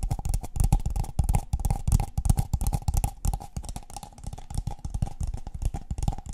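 Long painted fingernails tap and scratch the side and base of a tall, empty, hollow brown kraft paper cup held upside down near the mics. The result is a quick, uneven run of dull, hollow, low thumps with very little ring, layered with soft, bright scratchy rustles.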